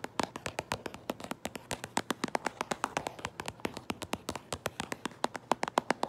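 Long nails tap and trace over the printed front of a held-up cardboard Minecraft Lego box, producing about 45 quick, dry, clicky taps with a bright edge and a tone around 900 Hz. The taps come in an uneven rhythm with faint scratchy tracing between them, and each stops almost instantly with no ring.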